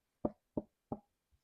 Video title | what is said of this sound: Punch Needle Embroidery for Beginners Lesson 2 Setup | you'll know that your fabric is tight enough when you tap it and you hear a drum sound